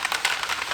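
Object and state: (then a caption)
Plastic bottle of polish with agitator ball, shaken. A plastic bottle of Time2Shine aluminum metal polish is shaken hard to remix the separated product, and the agitator ball inside rattles. The sound is a quick series of bright, dry clicks concentrated in the upper frequencies, with no low end.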